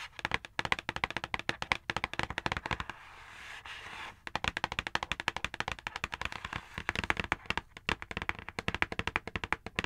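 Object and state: Cardboard box.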